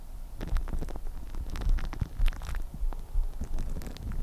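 Long painted nails scratch crinkled clear plastic cling film wrapped over a microphone head. The result is a steady stream of close, crackling scratches and crinkles with a deep, boomy rumble underneath, punctuated by brief brighter rustling bursts.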